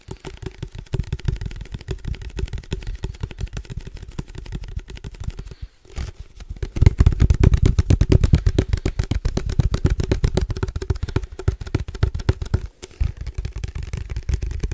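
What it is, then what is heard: Plastic padel ball tube. Fingertips with short nails tap quickly on the side of a hollow, black cylindrical plastic padel ball case with a red logo. The result is a rapid, uneven stream of short, dull, low taps. The taps pause briefly near 6 and 12.7 seconds and grow louder after about 7 seconds.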